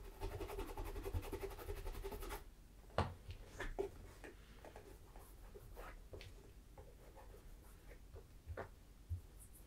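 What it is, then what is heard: Leather boot being rubbed. Bare fingertips and a palm work cream into the upper of a hollow, empty tan leather Tricker's Stow brogue boot in Acorn with a thick rubber sole, while a wax tin sits nearby untouched. A dense, steady rubbing texture fills the first two seconds, then gives way to quieter, scattered soft strokes and squeaks on the leather. A few sharper low knocks stand out along the way.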